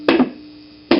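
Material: Steel.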